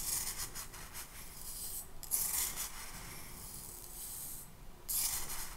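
Pink sand in a small clear glass cup held in the hand is stirred and rubbed against the glass, apparently with a clear plastic spoon. A steady, bright, gritty rubbing and scraping hiss runs throughout, with louder swells of scraping along the way.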